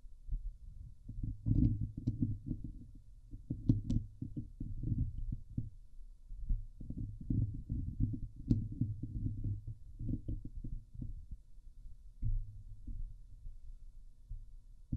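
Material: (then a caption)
Steel mesh. A fingernail scratches across the top of a Blue Yeti microphone's hollow steel wire-mesh grille. The result is a dense run of muffled, low rumbling scrapes with a throbbing texture, broken now and then by brief bright ticks.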